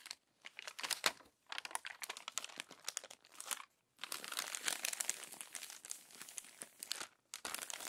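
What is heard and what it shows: Long nails unfold and smooth the crumpled pages of an open glossy paper magazine. Dense, bright crinkling and crackling come in bursts, separated by a few brief silent pauses. The sound has almost no low end.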